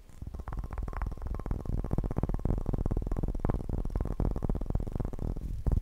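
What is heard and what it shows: A bowling pin is tapped fast and aggressively in a rapid, continuous stream of short, dull knocks. The sound is heavy and low, with a deep thud around 60 Hz and almost no bright content. Each tap dies away almost instantly.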